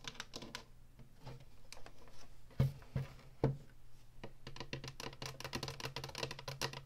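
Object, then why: Plastic game console casing. Long natural nails and fingertips tap and scratch the front of an Atari Flashback 2 console, a hollow black plastic casing with a woodgrain front panel, then move to its ridged top. Light, irregular clicking taps give way to a few sharper, louder knocks. Dense, bright, rasping scratches follow over a steady low hum.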